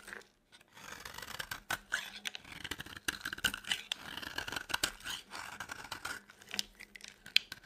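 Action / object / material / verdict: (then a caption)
scrape / bar of soap cut with a knife blade / soap / none. A utility knife blade shaves a dry, solid yellow embossed Palmolive soap bar. It makes a quiet run of crisp, dry scraping and crumbly cutting strokes, bright and scratchy with almost no low end. Short pauses fall between bursts of shaving.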